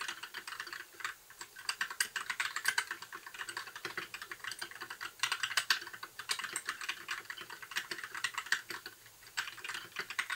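A compact white 60% mechanical keyboard with plastic keycaps and RGB backlight is typed on continuously with the fingertips of both hands. The result is a steady stream of short, crisp plastic clacks with a bright top and almost no low end, each dying away almost instantly. Brief pauses break the typing near 1, 4 and 9 seconds.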